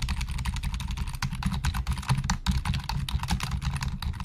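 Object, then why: Plastic computer keyboard. Fingertips of both hands type fast on a black plastic Logitech full-size keyboard resting on a desk, its hollow plastic keys clattering in a rapid, steady stream. Each keystroke gives a short, hollow low thump with a brief bright click, and the sound dies away quickly between strokes.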